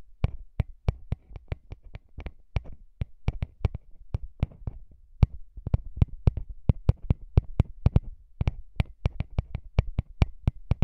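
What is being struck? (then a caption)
Metal microphone capsule grille. Fingertips tap and rub the small hollow metal microphone capsules and their metal grilles on a recorder. A steady run of sharp, dry taps lands close to the mic, each a deep thump with a bright click on top and no ring. Soft scratchy rubbing fills the gaps between taps.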